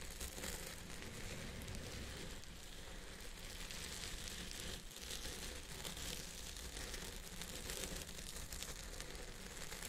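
Fingertips and nails scratch and rub the fibers on top of a purple synthetic wig resting on a head form. The result is a steady, quiet crinkly rustle that runs the whole clip, with a low rumble underneath and a bright, hissy texture above.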